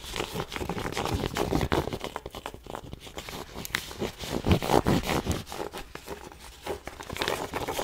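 Long nails scratch and rub the fabric crown of a black cotton twill Nike baseball cap, soft and hollow, held in both hands. The result is dense, dry scratching and rustling with quick irregular strokes, swelling into louder, fuller bursts now and then.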